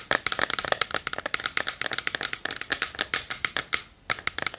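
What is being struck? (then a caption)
Small wooden chest. Long nails rapidly tap and scratch the lid and front of a small hollow wooden treasure chest box held in both hands. The result is a quick, dense run of short, bright, dry clicks with almost no low end, briefly pausing into a soft scratchy hiss near the end before the tapping resumes.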